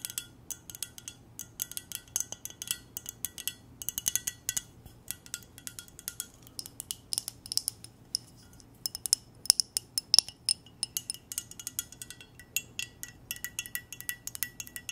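Long nails tap a clear, empty glass mug with silver decoration while it is held, producing a quick run of dozens of light, high-pitched clinks. Each tap is bright and glassy and dies away almost instantly, with a few louder, sharper taps standing out near the middle.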